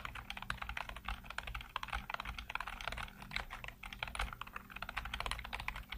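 Fingertips type rapidly across a full-size black plastic computer keyboard with hollow keycaps, producing a dense, continuous stream of short, sharp clicks and clacks. The tapping is bright and hollow-sounding, with each keystroke dying away almost instantly over a steady low hum underneath.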